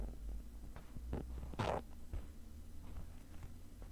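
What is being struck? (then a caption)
Woven nylon zippered case scratched with a metal pick. A thin metal pick tip scratches across the textured surface of a black woven nylon zippered case, padded and hollow. The result is quiet, muffled scratching and rustling, mostly low in tone, with a brief louder, brighter scrape in the middle of the clip.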